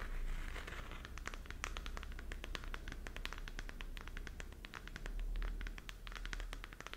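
Long nails scratch the textured surface of a glowing, hollow plastic galaxy moon lamp held in both hands. Quick, crisp scratches and ticks sound in a rapid, uneven stream, with dry, bright edges over a steady low rumble.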